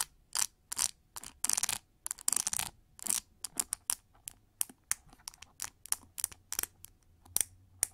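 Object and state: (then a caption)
Plastic paddle hair brush. Fingernails flick and scratch the pin bristles of a pink plastic cushion paddle hair brush held over a microphone. The result is a rapid, irregular run of dry, bright clicks and short scratchy bursts, with almost no low end and no ringing between strokes.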